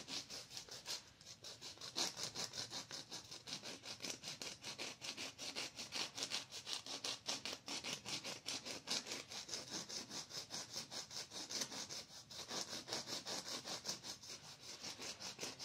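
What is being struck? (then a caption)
Fingernail and emery nail file. A manicurist files a person's fingernails with a pink emery nail file, stroking it back and forth across the nail edge. The result is a rapid, fairly steady run of bright, high, scratchy rasps with almost no low end, with brief pauses near the 1 and 12 second marks.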